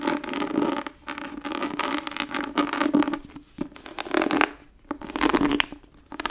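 Long nails scratch and tap across the textured surface of an embossed, tooled brown leather book cover held in the hands. The result is dry, rasping scratches in bursts, broken by brief quiet pauses.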